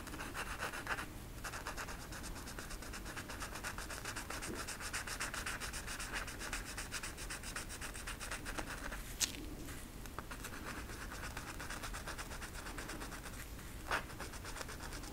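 A red marker is rubbed back and forth across a flat velvet coloring poster on a stiff backing, making a steady, soft, scratchy rubbing with a bright, hissy texture. The strokes run continuously at an even, quiet level, broken by a brief sharper click just after nine seconds and another near fourteen seconds.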